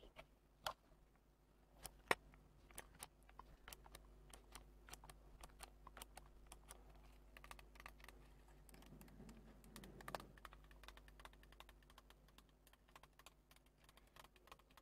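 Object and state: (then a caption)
Plastic alarm clock tapped with nails. Long nails tap rapidly on the clear plastic face cover and casing of a small grey-white plastic analog alarm clock held in the hands. The result is about 35 quiet, sharp, bright clicks with almost no ring, two louder taps near the start and a brief soft rustle around the tenth second. A faint steady low hum runs underneath throughout.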